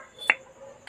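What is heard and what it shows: A metal valve on a Honda Wave 100 cylinder head, reinstalled after its seat was lapped with grinding compound, is snapped once against its seat. It gives a single sharp, bright click with a very short ring over a faint background. The valve seats well and the valve guide is very smooth.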